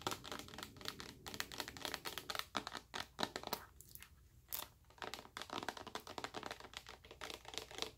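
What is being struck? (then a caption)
Plastic lotion bottle. Long acrylic nails tap rapidly on a large, full clear plastic bottle of white body moisturizer. The taps are quick, bright, dry clicks with almost no ring, running in dense bursts with a brief quieter lull around the middle.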